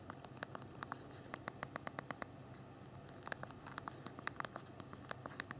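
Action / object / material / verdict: tap / small phone plastic keyboard / plastic / none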